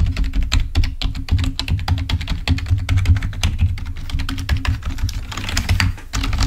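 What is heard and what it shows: Fingertips type rapidly on a full-size black plastic Microsoft keyboard resting on a table, producing a fast stream of short, sharp plastic key taps and clicks. A steady low hum runs underneath the dense tapping throughout.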